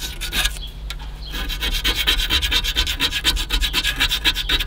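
Fingernails scratch and rub quickly, again and again, along the flaking edge of a corroded aluminium car AC condenser rail. The sound is a dry, bright rasp in rapid, fairly steady strokes that get louder after the first second, over a faint low hum.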